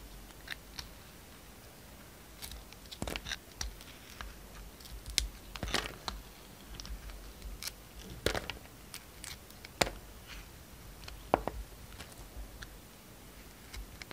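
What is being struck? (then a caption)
Soap bar shaved with a blade. A utility knife blade shaves the outer glitter layer off a hand-sized, solid yellow-and-white striped soap bar. The blade makes quiet, irregular scraping and cutting strokes with dry, crisp crunches, and brief bright transients stand out against a low, steady background hiss.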